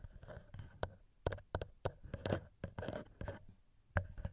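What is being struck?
Metal microphone capsules of a handheld recorder.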